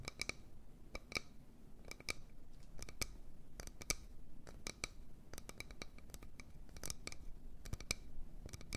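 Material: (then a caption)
Wood. A wooden bowl is tapped and scratched with quick, irregular strokes. Short, sharp clicks with a faint bright ring near 2.3 kHz die away almost instantly over a soft, continuous scratching texture.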